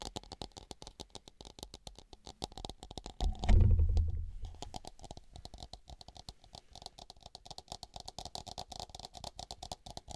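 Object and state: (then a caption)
Plastic mini football helmet. A small hollow Patriots-branded plastic mini football helmet with a red face mask is held in both hands near the microphone and tapped and scratched across its shell with fingertips and nails. Rapid, uneven, dry clicking taps continue throughout. Around the middle, a louder, deep rumbling swell rises and then fades back into the tapping.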